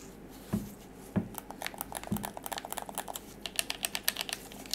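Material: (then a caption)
Plastic. Black-gloved fingers grip a hand-sized, dark grey, hollow plastic DualShock 4 wireless controller (The Last of Us Part II limited edition), tapping it and pressing its buttons. Three dull low thumps come first, then a quick, uneven run of dry, bright plastic clicks with almost no ring.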